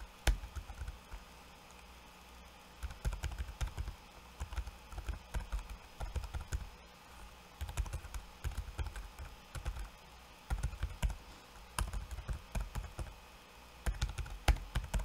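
Fingertips of both hands type on a backlit laptop keyboard with plastic keycaps. The result is bursts of rapid, soft, dull key clicks with a low thud and almost no ring, separated by brief quiet pauses.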